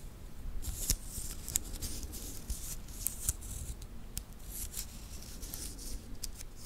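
A small titanium watch band with solid metal links is held in both hands close to the recorder while the fingers flex it, clicking the links against each other. The result is a run of short, bright metallic clicks and ticks with almost no ring, over a low, steady rumble of handling noise.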